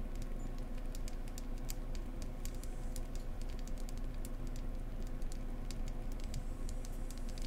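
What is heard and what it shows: Long painted acrylic nails tap and scratch-tap the ridges of a small, solid, ribbed beehive-shaped beeswax candle held in one hand. The result is a steady stream of quick, dry, bright clicks and light scratches, each dying away almost instantly, over a constant low rumble.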